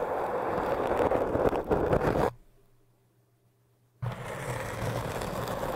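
A metal crochet hook and a thin metal needle, held in fingertips, scratch the surface of a tall, orange, solid-looking hard foam cylinder, making a dense, gritty scraping. The scratching breaks off into near silence with a faint low hum for almost two seconds, then resumes just as steadily to the end.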